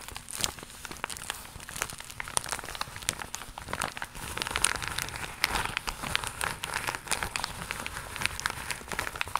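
Long pink nails scratch across the bumpy surface of a holographic faux leather pouch, made of iridescent crocodile-textured vinyl and held in front of the chest. The result is a steady, dense run of bright, crinkly scratches and quick crackling ticks with little low end, and the sound dies away almost instantly after each stroke.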